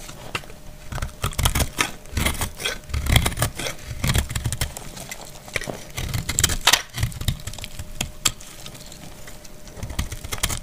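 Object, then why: Bar of soap shaved with a blade. A utility knife blade shaves a solid, dried white soap bar held in the hand. It makes a rapid series of dry, crisp scraping strokes with bright, crackly detail over a soft low rumble. Each short burst stops almost at once, with no ring.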